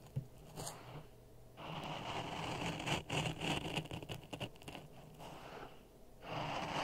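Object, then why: Sand in a plastic cup scraped with a wooden stick. A wooden stick is pushed and scraped through a layer of dry sand in a clear plastic cup resting on a red microphone. Gritty, crunching scrapes come in bursts, with steadier grainy rasping and a low hum underneath, and bright grainy hiss at the loudest moments.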